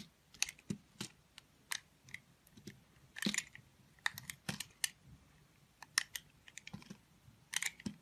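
A solid multicolored bar of soap held in the hand has its edges shaved and scraped with a snap-off utility knife blade. About twenty short, dry, crisp scrapes and clicks come at an irregular pace, bright and quiet, with a faint low thud under some strokes. Each one dies away at once.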